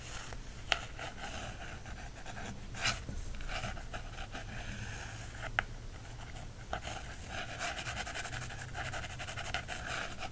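A wooden stick traces and scratches over the card cover of a small softcover bird field guide held in hand, making a steady, breathy rasp. A few sharper taps or clicks stand out above the continuous scratching.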